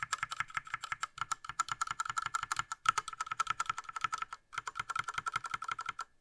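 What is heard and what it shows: A gloved fingertip rapidly presses the right-side keys of a small 60% Ducky Mecha Mini Frozen Llama Edition mechanical keyboard, with a light blue plastic case and plastic keycaps, lying flat. Around forty short, dry plastic clacks with a bright tone near 1.3 kHz come in a steady typing rhythm, with a brief pause near 4.5 seconds.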